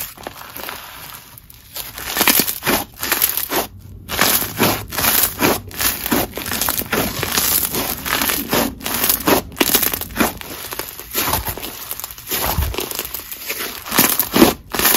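Red crunchy snow fizz slime, grainy in texture, is stretched, folded and squeezed with both hands. It gives off dense, irregular crackly crinkling and crunching bursts, bright and hissy with little low end.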